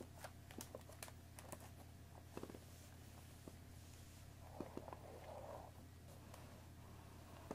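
A hollow cardboard Earl Grey tea box holding tea bags sits on a wooden table and is tapped on the top with long nails, then on the sides with fingertips. Short, dry, clicky taps ring out at scattered intervals, with a softer rustling patch partway through. A steady low hum runs underneath.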